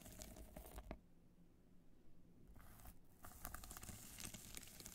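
A small black hard-shell evening clutch covered in multicolored rhinestones, with a metal clasp, is held in both hands while long dark nails scratch across its studded surface. Bursts of dry, crackly scratching with bright edges come in two clusters around a quieter stretch, over a low rumbling background.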